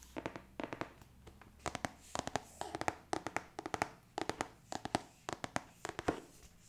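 Fingertips and long nails tap across the front of the lid of a large, hollow, printed cardboard board game box for Escape the Dark Castle, held upright. Quick bursts of dry, hollow knocks with bright clicky nail edges come in uneven clusters, each tap dying away almost instantly.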